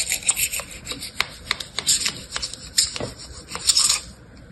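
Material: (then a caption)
Sand. A flat metal knife blade, held in a hand with long painted nails, scrapes and cuts through blue, packed, dry kinetic sand in a small orange-red silicone mold held in the other hand. The sound is a series of dry, gritty, crunchy scrapes, about a dozen irregular strokes with bright, high hiss and rasp and almost no low end.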